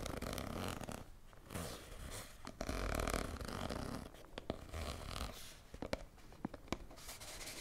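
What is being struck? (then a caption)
Soft plastic squeeze tube. A hand-sized red soft plastic squeeze tube with a white cap is held in both hands and scratched along its surface with long nails. Soft, uneven scratching and rustling sit over a low rumble, broken by sharp, bright clicks and taps.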